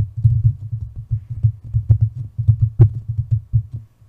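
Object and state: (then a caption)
Metal microphone body rubbed and tapped. Long nails and fingertips rub, scratch and tap the hollow body and grille of a white metal USB condenser microphone. The result is a rapid run of deep, muffled thumps and rubbing pulses centered around 105 Hz, with a few brief, brighter scratchy clicks mixed in.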